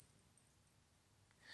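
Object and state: Nothing is struck.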